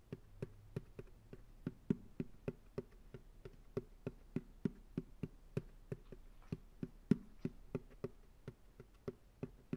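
Fingertips tap on the bottom of an empty white plastic ice cream pail resting upside down on a lap. About 32 soft, hollow taps come in an uneven stream, each a short low thump with a faint click that dies away almost at once.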